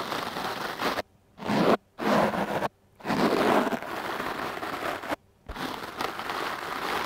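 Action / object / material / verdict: scrape / foam microphone windscreen / foam / none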